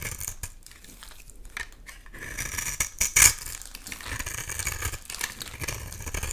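A utility knife blade cuts and scrapes flaky shavings off a solid oval purple bar soap held in hand. It makes a bright, dry, crackly scraping with quick crisp scratches and soft rustling. The loudest slice comes about three seconds in.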